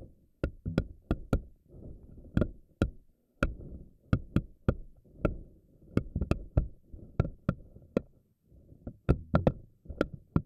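Fingernails stretch and pluck single tentacles on a pink silicone spiky anemone ball, each one snapping back. The result is a steady run of sharp, dry snaps with a thick low body and a brief bright click on top. Each dies away almost instantly, with soft rubbery stretching sounds between them.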